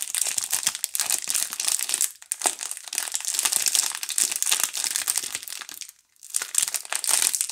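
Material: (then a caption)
Plastic film. Two hands hold a DURU multipack of soap bars in clear plastic film while long painted nails and fingertips pick at, crinkle and tear the wrap. The result is a dense, bright, continuous crinkling with almost no low end. It briefly drops out around 2 seconds and goes nearly silent around 6 seconds before resuming.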